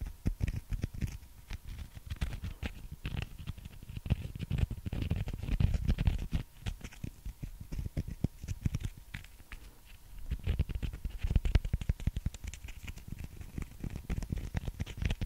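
A small, solid breaded fried chicken nugget is tapped and scratched with long nails close to the microphone. The sound is a dense, steady patter of soft, dull taps and crackly scratches, heavy in the low end with brief bright clicks, continuing throughout.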